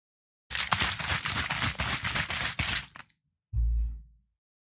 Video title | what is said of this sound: ASMR Intro for April 28th | I'm gonna shake it up so you can hear the fizz go tss